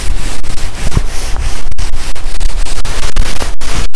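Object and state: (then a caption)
Nylon puffer jacket being scratched. Fingertips and nails scratch and rub the sleeves of a black, shiny, quilted nylon puffer jacket with soft padded fabric, worn with the arms crossed. Loud, continuous rustling and scratchy swishing fills the clip, with dense low-end thumps of fabric and brief near-silent gaps toward the end.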